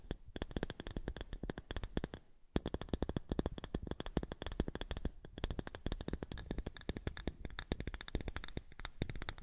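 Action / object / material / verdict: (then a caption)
scrape / small round polished wooden disc / wood / none. Long nails rapidly scratch and tap a small, thick, round polished wooden disc held in front of the microphone. The result is a dense stream of short, dry clicks and scrapes with a deep woody body and faint bright edges, broken by a brief pause after about two seconds.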